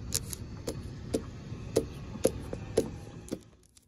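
Long pink nails scratch and tap across the black coated steel mesh surface of an outdoor expanded-metal picnic bench. About nine short, dry, irregularly spaced taps with a mid-pitched click ring out over a faint, steady scratchy hiss, fading out near the end.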